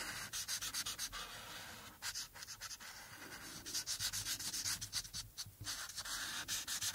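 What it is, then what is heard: Marker coloring on a paper sheet. The felt tip of a white-barrel alcohol marker, held in the fingertips with long painted nails resting nearby, rubs back and forth across a thin printed paper coloring sheet lying flat on a dark clipboard. Quick, uneven strokes make soft, bright, hissing scratches that swell and fade in rapid succession, with almost no low end. The coloring continues steadily throughout.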